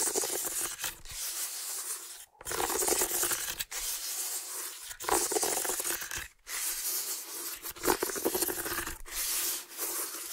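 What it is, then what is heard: Woven water hyacinth basket. Fingertips rub and scratch across the weave of a medium, hollow, empty woven water hyacinth basket. The result is a dry, bright rustling scrape, heard as long strokes with brief silent breaks between them.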